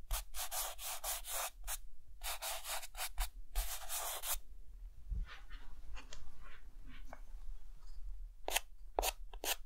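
A white chalk stick scratches across a chalkboard that has a mountain drawing on it, making zigzags and short vertical hatching strokes. Quick, bright scratchy strokes come in dense bursts at the start, then a quieter stretch of softer marks, and a few sharp strokes at the end.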